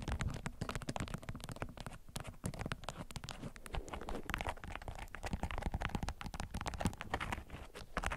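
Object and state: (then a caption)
Beeswax-coated cotton food wrap. A bundled yellow bee-print beeswax-coated cotton food wrap resting on a green mat is scratched and tapped with long acrylic nails. A dense run of quick, dry scratches, taps and crinkles follows, with a heavy low thump underneath and bright, crackly edges.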